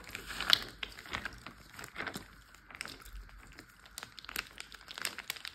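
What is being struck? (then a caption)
Water-filled plastic zip bag. A large clear plastic Ziploc bag full of water is rubbed, pressed and tapped with a flat hand and fingertips. The result is quiet, bright plastic crinkling and crackling with short soft taps and slight squishy shifts, with a sharper crackle near the start.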